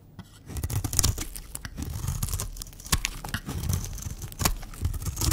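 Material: Soap.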